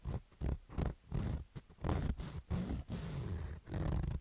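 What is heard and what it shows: A fingertip scratches the fabric side of a black baseball cap with stitched fabric rows. The result is irregular bursts of low, rumbly scratching, about 85 per minute, with almost no high end.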